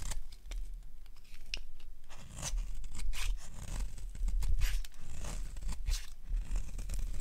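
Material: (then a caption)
Soap. A solid lilac oval bar of dry soap held in the hands is carved with a metal blade, and brittle flakes break off. Dry, crisp scraping and crackling cuts repeat in quick bursts over a low rumble. The bright carving sounds come in short, closely spaced strokes.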